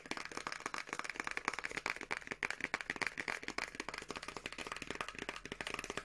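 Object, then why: Small paperboard product box with contents. Long nails rapidly tap a small teal printed paperboard box of Revolution Beauty moisture cream with the product still inside. The dense stream of dry, bright clicks has almost no low end and no ring after each tap.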